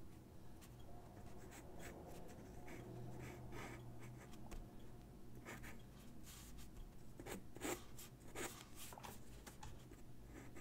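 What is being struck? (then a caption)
Graphite pencil on a sheet of drawing paper on a wooden desk. A graphite pencil draws and scratches across a single white sheet of drawing paper on a wooden desk. Short, soft broadband scratches come and go over a steady low hum, with a few louder, sharper strokes near the end.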